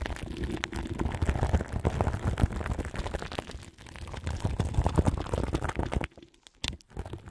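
Long nails scratch the crinkly plastic film wrapped over a large microphone's grille, making a dense, continuous crackling rustle with a heavy low rumble. The scratching dips briefly around the midpoint, then goes mostly quiet near the end, broken by a few short crinkles.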